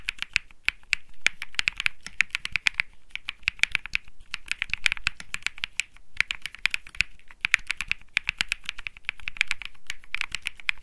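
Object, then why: Mechanical keyboard with plastic keycaps. A cream mechanical keyboard with plastic keycaps, typed on continuously by fingertips. Quick, bright, clicky keystrokes come in bursts with brief pauses, each one short and dry with a clacking tone centred around 2.4 kHz.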